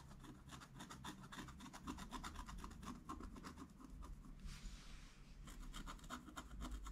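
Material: Coated paper.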